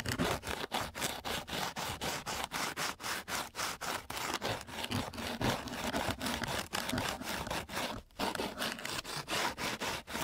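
A flat wooden stick is rubbed back and forth across a flat, gritty sheet of coarse sandpaper. It makes a broadband, bright scratchy rasp in quick repeated strokes, about two per second, with a brief pause near the eight-second mark. Each stroke cuts off sharply with almost no ring.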